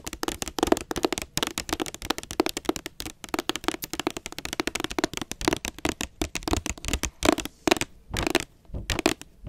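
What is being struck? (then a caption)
Hardcover book cover tapped with fingernails. Long acrylic nails tap rapidly across the front cover of a solid blue hardcover book, "More Than Enough," with a glossy jacket. The taps are quick, dry clicks with a bright edge and a faint low-mid body, each dying away almost instantly. They come in dense, uneven bursts with a few brief pauses.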